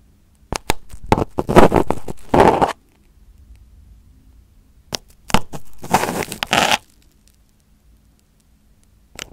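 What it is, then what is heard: Aluminum foil over a microphone, poked and picked. Crumpled aluminum foil wrapped over a round microphone head, a thin sheet over a hollow form, is poked and picked with a small pin held in the fingertips. Two bursts of close, crinkly crackling with sharp clicks are separated by a quiet, faintly rustling gap, and a soft tap comes at the very end.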